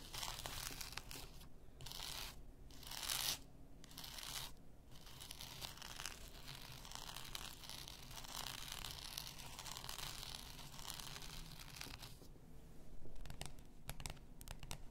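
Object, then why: Glass bottle with paper label. A full glass bath salt bottle lies on fur while long nails scratch along its neck and label. The result is a continuous, crinkly, papery scratching with a low rumble beneath and bright, hissy bursts that come and go.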